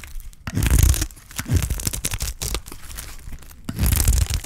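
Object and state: Dry soap bar being scraped.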